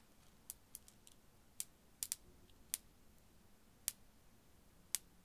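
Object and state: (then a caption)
Strand of glass beads. A strand of small faceted blue glass beads, held by the fingertips at the side of the microphone, is gently shaken and dangled. The solid beads give sparse, bright, sharp clicks spread across a quiet background, each dying away almost instantly.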